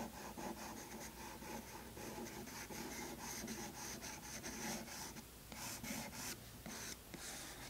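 A wooden pencil with a light-colored tip makes hatching strokes across a tan toned page in a spiral sketchbook, over earlier charcoal. The pencil gives a steady, bright scratching rasp as it rubs back and forth on the paper. A faint low hum sits underneath.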